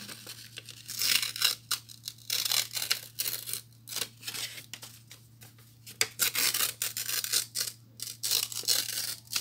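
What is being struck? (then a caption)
Thin notebook paper sheet. A thin white notebook paper sheet with a perforated, spiral-torn edge is held in both hands and torn into strips by fingertips with short nails. Repeated bright, crisp ripping bursts come in irregular waves, each short rip fading quickly, over a faint steady low hum. The tearing continues throughout, leaving the sheet in strips.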